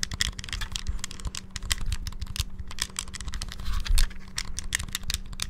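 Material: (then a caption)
Plastic. Fingertips rapidly press and tap the buttons of a small, hollow, clear transparent plastic Game Boy handheld held in both hands close to the mic. The result is a fast, dense stream of dry plastic clicks with bright edges and dull low thumps, each dying out almost instantly. A faint steady low hum runs underneath.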